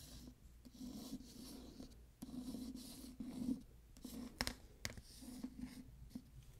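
Fingernails scratch and trace across the glossy paper dust jacket of a solid *Midnight Bayou* hardcover book. The result is a steady, soft scratchy rubbing with a low hum beneath it, broken by a few sharp, brief clicks.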